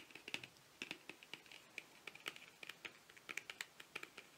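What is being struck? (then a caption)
Long thin cardboard box. Rapid fingernail tapping runs along the length of a long, narrow, hollow printed cardboard box, eyeliner-style cosmetic packaging held horizontally. The taps are quiet, sharp and clicky, with almost no low end and a bright ring around 2.6 kHz. They come in quick irregular bursts, with about 27 distinct taps across the clip.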